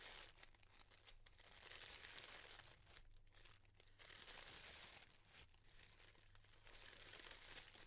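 A pleated bundle of thin yellow tissue paper, made into a flower, has its layers separated and pulled apart by fingers with long dark nails. The result is a continuous, bright crinkling and rustling that swells and dips in waves, with a faint low hum underneath.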